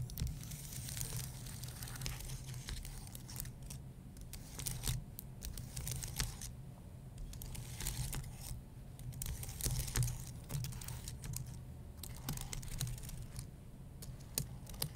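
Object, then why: Plastic keys on an aluminum keyboard. Fingertips and nails of both hands tap and scratch the plastic keys of a white low-profile computer keyboard on an aluminum base. Dense, crinkly scratching runs throughout, broken by sharp bright clicks over a steady low rumble. The busy texture never settles, swelling into louder bursts of tapping and fading into softer scratching.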